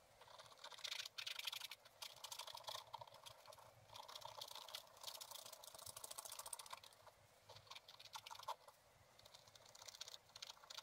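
A wooden stylus scratches the black coated page of a spiral-bound scratch-art book lying flat, making repeated short strokes on a balloon shape while the other hand holds the book. The sound is a dense run of dry, bright, papery scratches and quick ticks that stop dead with no ring, with a few louder bursts near the start and quieter pauses between strokes.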